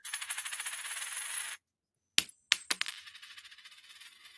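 A real silver coin is dropped in a ping test, giving a bright, high ringing shimmer that lasts about a second and a half before cutting off. After a brief silence, three sharp metallic strikes follow, trailing into a fading rattle and ring that confirms genuine silver.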